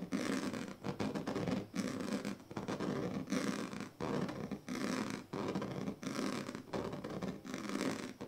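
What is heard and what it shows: The teeth and tail of a pink plastic comb scratch across the strips of a large, flat woven plastic sleeping mat. Repeated rasping, zipper-like strokes come in steady bursts with short pauses between them. The scratching has a dry, ridged texture and a full midrange body.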